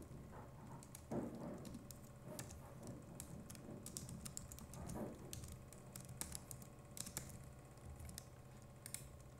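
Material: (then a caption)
Plastic. A compact Logitech MX Keys Mini keyboard with plastic keycaps is typed on with the fingertips of both hands throughout. The keystrokes sound as soft, quick, muted clicks over a low background hum, with a few louder taps standing out.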